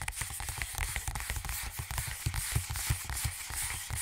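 A partly filled, hollow plastic Aveeno hand lotion tube, about 20 cm long, is held in one hand and tapped with the fingertips and nails of the other. A quick, irregular run of soft, dull low thumps mixes with bright, clicky nail ticks, each dying away almost at once over a faint hiss.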